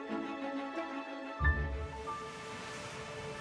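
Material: Nothing is struck.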